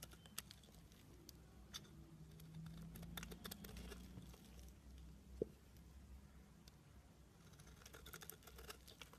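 A utility knife blade scrapes and shaves the embossed face of a rectangular, solid pale green soap bar held in both hands, leaving it flat. Quiet, dry scratchy pattering and small crisp ticks run over a steady low hum, with one sharper click standing out midway.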